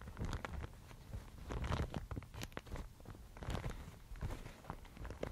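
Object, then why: Thin mulberry paper sheet. A thin, fibrous Thai mulberry paper sheet is held in both hands, crinkled and scratched with long nails. It gives quiet, dense crackling and rustling with short, bright crinkly bursts over a soft, low handling rumble. The bursts come in uneven clusters throughout.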